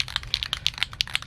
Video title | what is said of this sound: Drilling a hole in my van | you hear that ball rattling around? You gotta shake it until that ball rattles really easily.